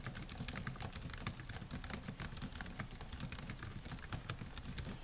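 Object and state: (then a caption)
Laptop keyboard with plastic keys. Fingertips type steadily on the black plastic keys of a solid silver laptop keyboard, producing a quiet, continuous stream of quick, sharp clicks. Each tap is short with almost no ring, set over a soft low rumble.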